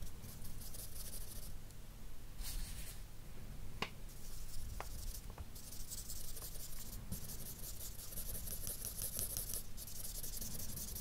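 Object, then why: Felt-tip marker on drawing paper. An alcohol marker with a broad felt nib, held at the fingertips, strokes and rubs shading over a map drawn on a large flat sheet of white drawing paper lying on a table. Soft, scratchy rubbing strokes repeat at a steady, quiet level, with a few brief sharper ticks over a low, constant rumble.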